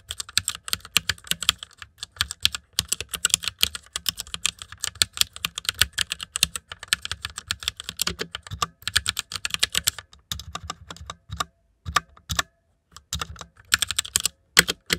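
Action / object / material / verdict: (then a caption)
tap / plastic mechanical keyboard / plastic / none. Fingertips of both hands type continuously on a white plastic mechanical keyboard with backlit keycaps, producing a rapid stream of sharp, bright clicks with very short decay. The typing runs steadily with brief pauses near the end.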